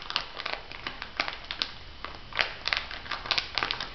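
An elongated clear plastic packet filled with white granules is pressed and rubbed by fingertips and nails. It gives off a steady run of bright, dry crinkles and sharp crackling ticks over a soft background hiss, with each snap dying away almost instantly.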